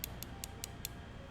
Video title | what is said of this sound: Glass Lenses For My Glasses? Are there Benefits To Glass? | it sounds like metal it's weird you've got a nice resonance with glass it's very strong substrate